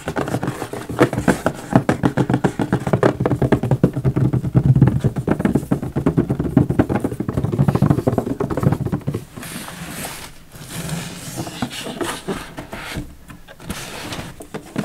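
Fingertips tap rapidly and unevenly on the lid of a large, hollow white printed cardboard hair dryer box that seems empty or lightly packed, making dull, low, hollow thuds with almost no ring. After about nine seconds the tapping gives way to quieter, steadier scratching and rustling as the box is tilted to show its side.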